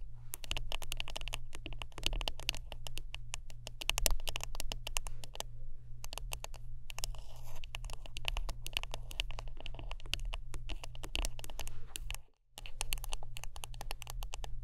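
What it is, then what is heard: Wooden brush. Close-up tapping and scratching on a wooden brush produces a dense run of quick, dry clicks and scraping strokes that reach into the high range. A steady low hum runs beneath throughout. The sound drops out briefly about three-quarters through, then the tapping resumes.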